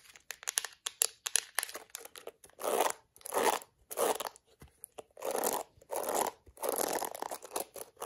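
Fingertips and long acrylic nails scratch the black plastic bristles and tap the hollow-sounding yellow plastic back of a plastic detangling hairbrush. Quick, sharp taps and clicks come first, followed by a run of longer, bright, rasping scratching strokes with short pauses between them.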